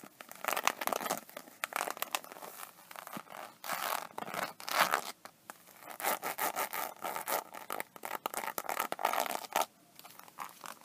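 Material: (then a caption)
Vinyl. Long painted nails scratch across the raised scale texture of an iridescent, embossed faux-snakeskin vinyl iPad case, seen up close. The result is a run of dry, papery scratching and rasping strokes in short, uneven bursts, bright and crackly with no low end.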